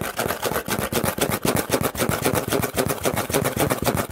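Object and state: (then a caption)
Cardboard box being scratched and tapped. Fingertips and nails scratch and tap quickly across the flat side of a large, empty corrugated cardboard shipping box with a printed smile logo, held upright. The result is a fast, somewhat uneven stream of dry, papery scrapes and hollow, boxy taps, about four per second, with a midrange body and a bright, scratchy edge. Each tap dies out almost at once.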